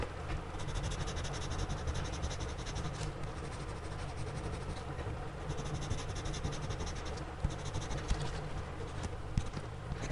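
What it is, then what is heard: Pencil shading on a sketchbook page. A gloved hand shades on a spiral-bound sketchbook page resting on a flat surface, using a blue-bodied pencil. A steady, soft scratching of graphite on paper runs throughout, mostly low and muffled, with a few sharper ticks near the end.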